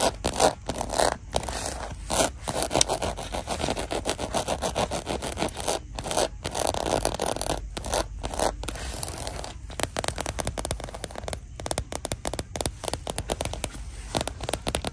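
Long dark nails scratch and tap across the crocodile-embossed scales of a small, flat red faux leather zip pouch lying on a shelf. The result is a steady, dry rasping scratch with rapid clicky taps and brief silent breaks, strongest in the midrange.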